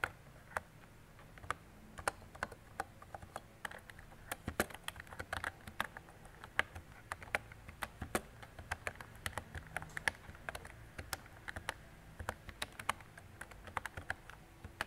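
Fingertips with long decorated nails type on a mint-green retro mechanical keyboard with round plastic keycaps and a hollow body. Around sixty quick, dry plastic clacks come at an irregular typing pace, each with a sharp bright attack centered near 1.7 kHz and almost no ring. A faint low hum sits steadily underneath.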